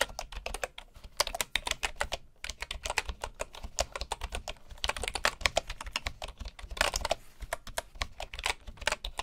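Both hands type with their fingertips on the keys of a full bamboo wooden keyboard. A steady, rapid stream of short, dry, bright clacks is heard, each dying away almost instantly, with a soft low thump under the keystrokes.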